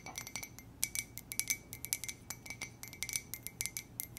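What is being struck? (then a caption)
Ceramic mug. A white ceramic "J" mug with gold trim and a gold base, hollow and apparently empty, is tapped and scratched with long nails. Quick, irregular, bright clicks and clinks ring faintly at a steady high pitch, with soft scratchy sounds between them over a low hum.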